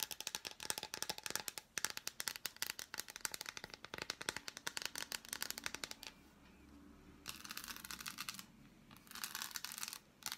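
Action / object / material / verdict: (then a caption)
tap / dark chocolate bar / chocolate / none. An unwrapped, hand-sized solid dark chocolate bar is held in both hands and tapped and scratched with long black acrylic nails on its smooth back and molded squares. For the first six seconds there are rapid, crisp, bright clicking taps, followed by quieter pauses and bursts of hissing, high scratching.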